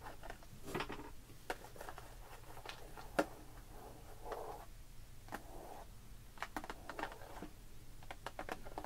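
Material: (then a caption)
Plastic. Long pink nails scratch and tap the bubble of a clear plastic blister package with a cardboard label, filled with pearl beads and resting on a wooden table. Soft, crinkly scratching runs throughout, broken by short, sharp plastic taps that die away almost instantly. A low hum sits underneath.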